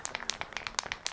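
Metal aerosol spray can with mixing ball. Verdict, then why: Loose. A metal aerosol spray can of primer is shaken before priming the inner wing, and the free mixing ball inside rattles with nine sharp, bright clicks in quick succession. The rattle shows the ball has come free and the paint is being mixed.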